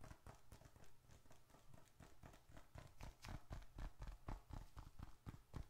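A small dark red leather bifold wallet, held upright, is tapped on its surface with the fingertips and nails of the other hand. The result is quick, slightly irregular soft taps, about four per second, mostly low dull thuds with short bright clicks from the nails.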